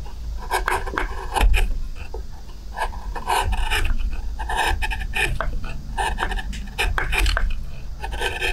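A hand-held steel spoon gouge carves the shallow interior of a pale wooden plate in short strokes, lifting curled shavings. The result is a steady run of close, rasping scrapes with a dull low-end body and crisp, bright edges.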